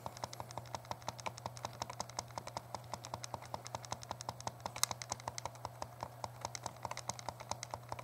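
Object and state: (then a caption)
Plastic handheld game console, buttons pressed. Thumbs press and tap the buttons of a small, hollow, translucent purple plastic Game Boy Color held in both hands. Quick, dry, bright plastic clicks come in a steady, rapid stream of dozens of taps, each dying away at once. A constant low hum sits underneath.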